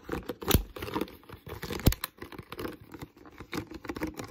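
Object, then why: Plastic water bottle. Fingertips and nails tap and scratch the molded base of an empty, hollow, clear plastic water bottle. The sound is an irregular run of quick, dry taps and crinkly scratching, mostly low and hollow. Two sharper, louder knocks stand out, and each sound stops almost at once with no ring.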